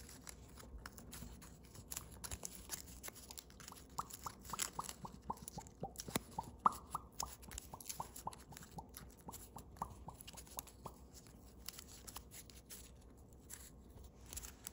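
Thin holographic blue foil origami paper at the crane-base stage is folded and creased with fingertips and thumbnails. Quiet, crisp crinkles and dry crackles mix with a steady run of short sharp clicks that carry a faint ping around 1.2 kHz, over a soft rustling bed.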